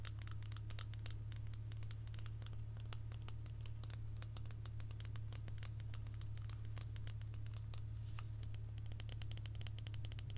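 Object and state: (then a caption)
Chocolate bar. A solid dark chocolate bar with a segmented square grid is held upright in both hands and tapped and scratched with long almond-shaped acrylic nails, while a branded box sits untouched on the table. Quick, irregular, bright clicks and scratchy ticks patter throughout at a quiet level, each dying away almost at once. A steady low hum runs underneath the whole time.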